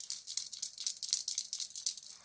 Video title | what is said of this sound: Selling on Vinted UK - Over 30 orders in 4 DAYS! When it rains it pours. Workhorses RUN in the RAIN. | if I stop talking and I just shake it, you can tell it's rattling